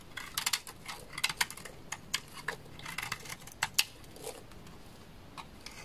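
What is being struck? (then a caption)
Bar of laundry soap scraped with a knife blade. A solid, dry, rectangular beige bar of laundry soap is held in the hand and shaved and scraped with a black utility knife blade, sending curly shavings falling. A run of short, crisp, bright scraping and cutting strokes follows over a quiet background, with no low-end body and each stroke dying away almost at once.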